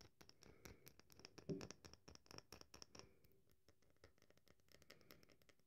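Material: Soap.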